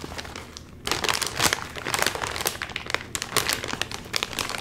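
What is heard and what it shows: A full, sealed Doritos chip bag of crinkly metallized plastic film, about 30 cm tall, is held in both hands while the fingertips pull and crinkle its top seam trying to open it. After a softer first second, dense bright crackling and crinkling bursts come in quick, uneven flurries with almost no low end.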